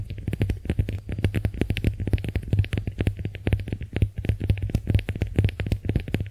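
Long nails scratch and squeeze the porous surface of a pink, heart-shaped konjac face sponge held in the hands. A rapid, uneven stream of short, dry clicks and soft squishes plays over a steady low hum, with most of the energy low and little brightness.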